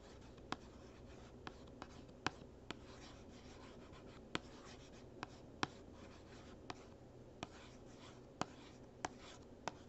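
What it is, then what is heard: Cardboard box. A capped marker traces and scratches across the surface of a small printed cardboard gift box that is closed, hollow and lying flat. A soft, continuous dry scratching runs throughout, broken by 13 sharp, short taps that end almost instantly. The sound is quiet, with a hollow low-mid body.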